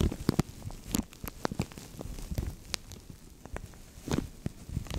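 Fingertips and nails scratch and crinkle a translucent thin plastic bag stretched over a microphone. Close, dry crackles and sharp rustling ticks come in quick irregular bursts, with a heavy low thump from the handling under them. Each snap dies away almost instantly between quieter stretches of soft friction.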